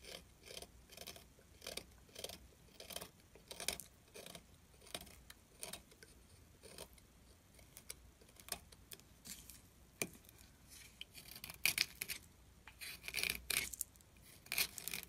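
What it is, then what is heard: Glycerin soap bar being carved. A metal tool scratches grooves into a solid orange glycerin soap bar held in the fingers and scrapes shavings from its surface. The scraping comes as a long series of short, bright, crisp strokes with quiet gaps between them, growing a little louder and more rapid toward the end.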